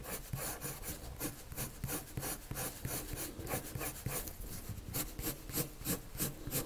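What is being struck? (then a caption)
Colored pencil on a sheet of drawing paper. A colored pencil scratches repeated strokes across a flat white drawing paper sheet to shade in a circle. The result is a steady run of dry, scratchy strokes, about three per second, each a bright rasping hiss over a soft low rumble.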